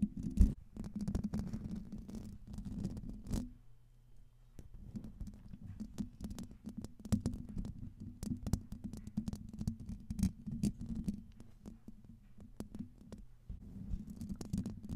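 A silver Blue Yeti microphone's hollow metal mesh grille is scratched by long red-painted fingernails of both hands. This gives a dense, continuous low rumbling scrape, broken by sharp clicks and brief pauses.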